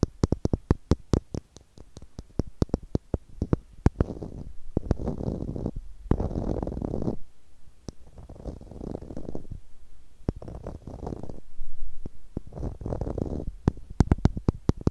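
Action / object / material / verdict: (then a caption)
tap / small plastic screw cap / plastic / none. A small, hollow, blue plastic screw cap held between the fingers is tapped with long nails, giving rapid, sharp clicks at the start and end. In between come longer stretches of low, muffled rubbing and scratching noise. The sound is dry and close, weighted to the low end, and each click dies away almost instantly.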